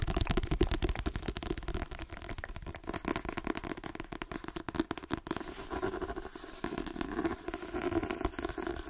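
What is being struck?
Paperback book with card cover.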